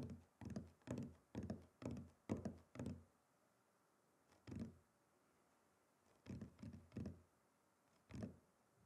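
A wooden chopping board is tapped and knocked, giving short, dull, low-pitched thuds that die away almost at once. A quick run of knocks in the first three seconds gives way to sparser, irregular taps separated by quiet pauses.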